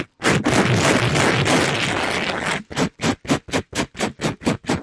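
A black-gloved hand rubs and scrapes a soft, palm-sized pink sponge with a glittery plastic-mesh cover over the top of a mic grille. It makes a dense, rough, broadband scratching that runs steadily for about two and a half seconds, then breaks into quick, separate scrubbing strokes at roughly four per second.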